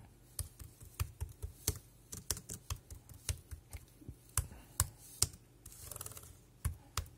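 Fingertips type on a dark grey plastic Bluetooth keyboard with round keys and a hollow body, producing irregular, quick clacks. Each keystroke has a dull, hollow low thud and a bright click that stops almost instantly. Near the end there is a softer patch of quiet rustling between the keystrokes.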